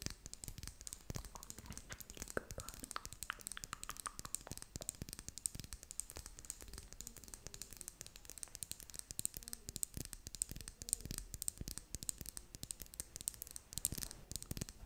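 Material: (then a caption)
Plastic. Long nails tap and scratch along a small red and clear plastic lip gloss tube with a metal band, held horizontally in both hands. The result is a quiet, dense stream of dry clicks and bright scratchy rasps, each tap sharp and dying out at once.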